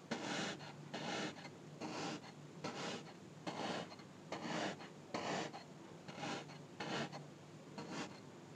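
A thin, dark, pointed tool repeatedly pokes and stabs the top of a small, solid, orange kinetic sand cube, adding more small holes. Each stab makes a short, grainy, rasping crunch with bright hiss, repeating in a loose, steady rhythm about every 0.8 seconds and fading quickly between strokes.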